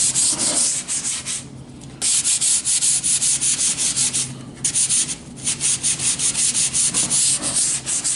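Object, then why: Wooden plank. A hand sands along the edge of a long, thin, solid wooden plank with a sanding sponge. Quick, bright, hissing strokes repeat in a steady back-and-forth rhythm, with two brief pauses where the rasping drops off before resuming.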